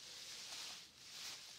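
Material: Nothing is struck.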